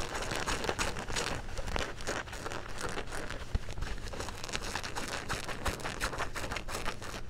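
Fingertips and nails scratch the back pocket of dark blue denim jeans held upright. The result is a steady stream of dense, dry scratching and crinkling, with brief sharper scrapes, over a constant low rumble.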